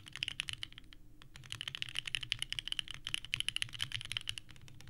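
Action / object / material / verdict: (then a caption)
tap / mechanical keyboard with plastic keycaps / ABS plastic / none. Both hands type continuously with the fingertips on a small 65% mechanical keyboard with a purple case and white ABS keycaps, resting on a desk mat. Rapid, sharp, clacky key presses with a bright tone centered near 3 kHz run throughout, with a brief pause around the one-second mark. Each click dies away almost instantly.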